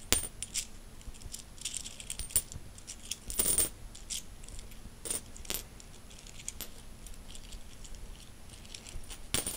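A handful of mixed solid metal coins is jingled and shaken in a closed fist, then released onto a bedsheet. Quiet, bright metallic clinks and rattles come in scattered clusters, each dying away almost instantly, with a few sharper, louder jingles standing out against a soft background hiss.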